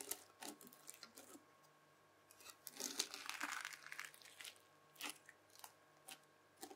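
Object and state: Bead-filled floam slime.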